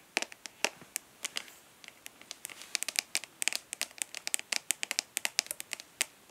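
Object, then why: Plastic eyeshadow palette lid. Long nails on both hands tap and lightly scratch the embossed front lid of a rectangular, hollow plastic eyeshadow palette held upright. Dozens of quick, sharp, bright clicks come in an irregular fast patter, with faint scratchy rustling between them. Each click stops almost at once, with no low-end body.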